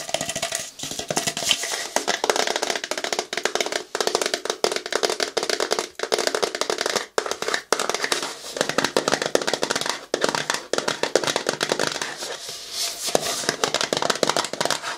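A medium-size, seemingly empty plastic bottle, clear to frosted with a green cap and label, is held upright and tapped with fingernails. Rapid, steady streams of short, dry, bright clicking run throughout, with almost no low end and no ringing after each tap.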